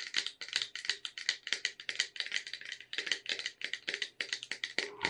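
Long red nails rapidly tap and scratch the sides of a cylindrical red Caprice wafer tin with a clear plastic window, full of wafer rolls. The result is a steady stream of dry, bright clicks and light scrapes that stop instantly, with almost no low end.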